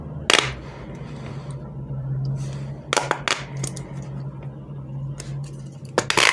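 A small giraffe fidget toy with a hollow corrugated plastic pop tube between its head and body pieces is stretched and bent by both hands, making the ribs click and snap. Sharp, bright clicks and pops come in bursts with short crackling stretches between them, over a steady low hum.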